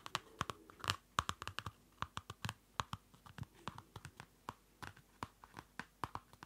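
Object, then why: Small paper notebook with a card cover. Fingertips and nails tap a small Field Notes pocket notebook, a solid paper block in a dark card cover, up close. About thirty quick, dry taps land in an irregular rhythm, each a short, crisp tick with a papery, bright edge that dies away almost at once.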